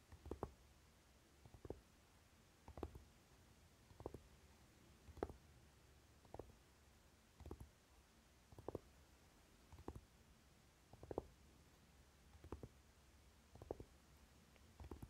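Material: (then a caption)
Flocked tin. Both hands tap and scratch with short nails and fingertips on the lid of a Naked eyeshadow palette, a flat, rectangular, hollow metal case coated in dark velvet flocking. Soft, muffled, low taps come in small clustered bursts at a steady pace of about one group per second, with faint scratching between them and quiet background in the gaps.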